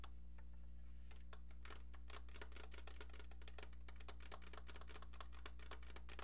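A hollow plastic novelty phone shaped like a brown American football with white laces, about football-sized and held beside the face, is tapped with long painted nails. Quick, fairly steady, light clicky taps with a bright edge sound over a constant low hum, all at a quiet level.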